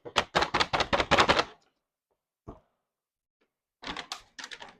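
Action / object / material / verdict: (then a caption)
shake / paper bag with seeds / paper / not empty. A paper seed bag is shaken while being emptied, giving quick, crisp papery rattles as leftover seeds shift in its creases. A dense burst of shakes is followed by a pause, one faint rattle, and another run of shaking, which continues until the rattling stops.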